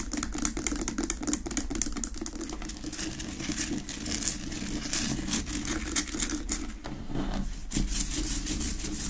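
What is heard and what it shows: Long nails rapidly tap and scratch the rough surface of a large, solid pink rock-salt lamp, unlit and resting on a wooden base. The sound is a dense run of crisp, bright clicks and gritty scratching, held over a steady low rumble for the whole clip.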